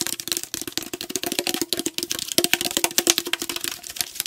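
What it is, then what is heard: Aluminum tea can. A tall aluminum tea can, held sideways, is tapped rapidly with fingernails on its body. The result is a dense stream of quick, dry, bright clicks with a faint metallic ring near 350 Hz and almost no low end.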